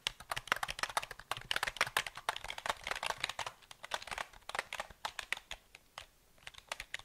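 Fingertips tap and type on the keys of a KLIM black plastic mechanical keyboard with a metal-grey frame and hollow housing, held in both hands. A rapid, uneven run of sharp, bright clicks carries almost no low end, and each one dies away instantly. The typing pauses briefly near the end before a few final taps.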